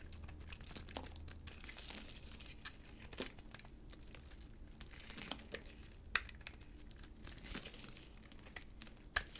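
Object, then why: Hard bar soap scraped with a blade. A utility blade scrapes flakes and chunks off a solid yellow and cream hard, dry bar of soap held in a gloved hand. Dry, crinkly scraping and crumbling are broken by sharp, bright crunches at irregular moments over a faint low hum.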